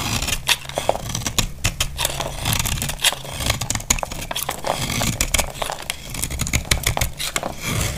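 A snap-off utility knife blade shaves and scrapes a solid, dry, palm-sized pink bar of soap held in the hand, and the shavings crumble off. Dense, crisp scraping runs throughout, with many short, bright crackles and sharp clicks over a low rumble.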